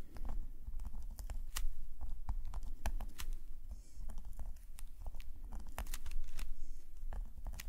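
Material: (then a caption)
Paper. A metal calligraphy nib, held in a fingerless-gloved hand, scratches fine ink lines across a black paper sketchbook page. Quick, dry, bright scratches and ticks come in irregular bursts over a steady low rumble, with no ring after each stroke.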